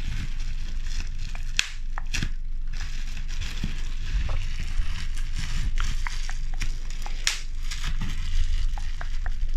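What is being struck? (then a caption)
Plastic bubble wrap. A bunch of clear plastic bubble wrap is held close to the mic and squeezed, its air bubbles pressed and popped with fingertips and nails. Sharp, bright pops snap out irregularly over a steady crinkling rustle and a low rumbling hum.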